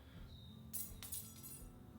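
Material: Aluminium.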